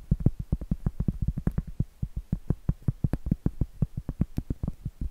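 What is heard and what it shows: Long acrylic nails rapidly tap and scratch the flat face of a round, solid cork trivet, giving a fast, steady patter of about 34 soft, dull, low thuds. Each tap is very short and dies almost at once, with only faint bright scratchy ticks above the muffled knocking.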